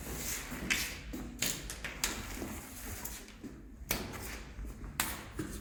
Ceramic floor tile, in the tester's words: you hear that sound of broken glass so you hear that there are hollow spots